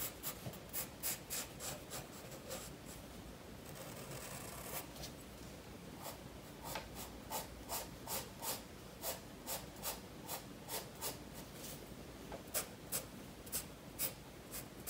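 A graphite pencil rubs and scratches strokes across the paper page of a spiral-bound sketchbook resting on a wooden desk while the tail of a fish drawing is shaded. Quick, bright, rasping strokes repeat in a steady rhythm, broken by a longer continuous scribble early on. The close, dry scratching sits over a quiet low background.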